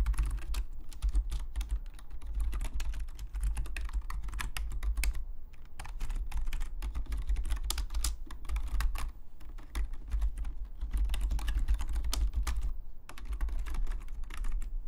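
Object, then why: Plastic computer keyboard. Fingertips of both hands type steadily on a black full-size plastic Logitech membrane keyboard lying flat on a desk, its hollow plastic keys giving quick, dry clicks and taps that die away almost at once. The typing runs in dense bursts with brief lulls over a constant low rumble.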